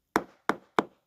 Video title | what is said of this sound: Sweat'n bullets in quarry! | you kind of tap on it. You can hear it's loose.